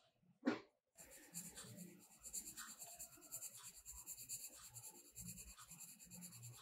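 A blue colored pencil is rubbed over a page of a spiral-bound paper mandala coloring book lying flat, making quick shading strokes. A brief soft knock and a short silence come first, then a steady, bright, dry scratching of pencil lead on paper continues to the end.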